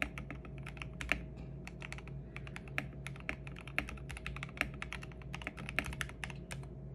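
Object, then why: Mechanical keyboard with plastic keycaps. Continuous fingertip typing with both hands on a 65% custom mechanical keyboard with lubed Gateron Yellow switches, MA-profile plastic keycaps and a purple backlight, lying on a desk mat. A rapid stream of short, crisp keystroke clicks with bright tops, a few louder accented presses, and a steady low hum underneath.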